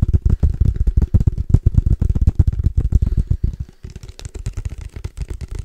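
Fingertips tap rapidly on a case for padel balls, making a quick, uneven patter of dull, low, knocking thuds that stop dead with no ring. About two-thirds of the way through, the tapping turns softer and lighter, with a bit more bright clicking.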